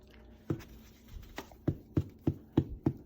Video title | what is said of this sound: Baba’s Bread | that's the hollow sound that's the sound you want to hear that's telling you the breads done